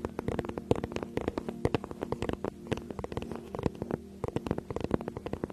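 Long nails tap and scratch the front of a flat, rigid teal faux-leather tablet case held in both hands behind the mic. A quick, irregular run of sharp, clicky taps dies away almost instantly, with soft scratching between them. The taps have a hollow low-mid tone over a faint steady low hum.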